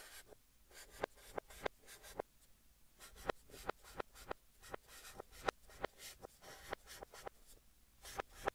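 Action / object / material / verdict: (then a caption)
scrape / chalk stick on a chalkboard / chalk / none. Fingertips hold a white chalk stick and write text on a large, flat green chalkboard, scratching it across the surface. Quiet, dry scraping strokes are punctuated by repeated sharp, bright taps as the chalk meets the board, with near-silent gaps between strokes.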